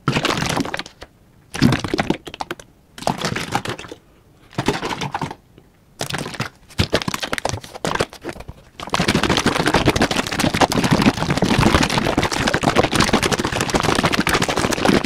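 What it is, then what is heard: Plastic bottle partly filled with liquid. A large yellow plastic Liquid-Plumr bottle, hollow and partly filled with liquid, is held in one hand and shaken vigorously near the microphone. Short bursts of crackly sloshing and rattling alternate with brief silences for about nine seconds. The shaking then becomes a continuous, fast, busy slosh that carries on to the end.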